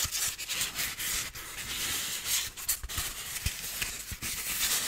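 Fingertips rub a solid white piece of styrofoam, producing a continuous bright, hissy friction sound with a squeaky, scratchy texture. Short low thumps and brief breaks occasionally interrupt the rubbing as the strokes change.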